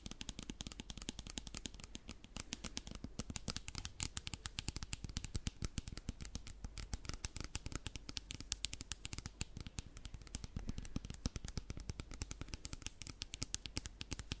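A hand-sized clear plastic spray bottle, partly filled with clear liquid, is held near the mic and tapped and scratched with long black nails. Rapid, dense, dry clicking taps with no ring blend with a scratchy rustle and a soft low thump throughout.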